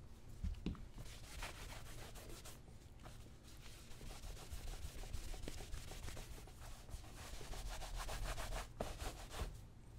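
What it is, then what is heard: Leather cowboy boot being buffed. A white cloth rubs and buffs the vamp and toe of a brown solid-leather cowboy boot, worn on a foot and resting on a shoe-shine stand footrest. Quick, uneven back-and-forth strokes make a soft, dull rubbing hiss with brighter swishes, over a steady low hum.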